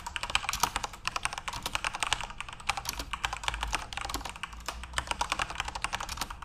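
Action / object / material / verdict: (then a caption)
tap / mechanical keyboard with plastic keycaps / plastic / none. Fingertips type quickly on a full-size RGB-backlit Corsair mechanical keyboard with plastic keycaps. Each keystroke gives a short, bright, clacky tick with almost no ring. The presses run in a dense, uneven stream throughout, with a faint low hum underneath.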